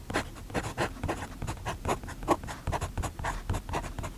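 A steel fountain pen nib scratches across an open paper notebook page on a desk, writing at the edge of the page while the other hand's fingertips steady the notebook. Quick, dry scratching strokes come in short bursts with brief gaps. The scratches carry a faint bright hiss over a soft low rumble.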